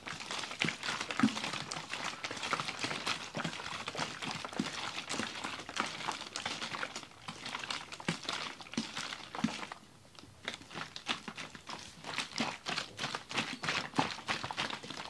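A large clear ribbed plastic water bottle with a red cap, filled with icy, partly frozen water, is held in both hands and shaken. Rapid, irregular bright clattering and sloshing bursts run throughout as ice knocks against the plastic, with a brief quieter lull around ten seconds before the shaking resumes.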